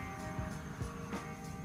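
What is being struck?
Nothing is struck.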